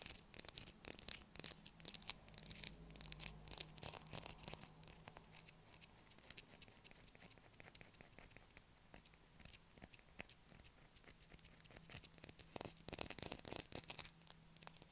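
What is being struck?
Bar of soap scraped with fingernails.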